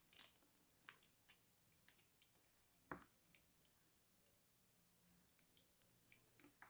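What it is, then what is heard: Dry crumbly soap being cut. A small, solid chunk of dried, crumbly mint-green soap is held in the fingers and scraped and cut apart with a small dark blade, breaking into flaky crumbs. Quiet, irregular, crisp crackles and short bright scrapes stand out over a soft hiss, with the sharpest snap near the middle.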